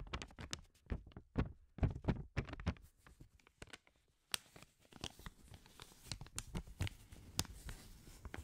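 Black-gloved hands fold, crinkle and rub a single thin, flat, blue-grey paper banknote in front of a microphone. Quick bursts of papery crackling and rustling come over soft low handling thumps, with a brief near-silent pause midway. Steadier, quieter rustling follows, broken by sharp bright crackles.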